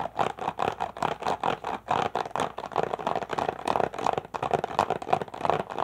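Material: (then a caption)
Plastic. An empty, thin, crushed clear plastic water bottle is held in both hands and rapidly tapped and squeezed with fingertips and nails. It produces quick, irregular bursts of crinkly crackling and hollow plastic taps, centered in the midrange around 750 Hz with little bass. Each sound dies away almost instantly, giving a fast, busy rattle throughout.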